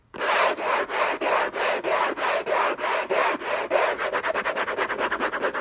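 Fingertips and short nails scratch hard across the lid of a closed, long rectangular orange Hermès cardboard gift box covered in textured paper, lying on a fluffy blanket. The result is a rough, hissy rasp in a steady train of scratching strokes, with no low end, and the strokes get shorter and quicker toward the end.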